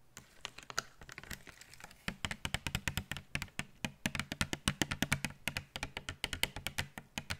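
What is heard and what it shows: Long nails tap and scratch the plastic front of a blister pack full of glitter tubes held in the hands. Lighter, scratchier ticks in the first two seconds give way to a steady run of quick, dry, bright clicks, each dying away almost instantly, with a faint hollow plastic thump beneath them.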